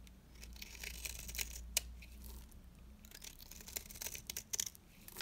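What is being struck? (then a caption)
Bar soap under a metal blade. A small, dry, rectangular orange bar of soap is held in the fingers while a metal cutter blade scrapes and shaves its face into curls. Bright, dry scraping and crisp shaving crackles come in quick bursts over a low steady hum.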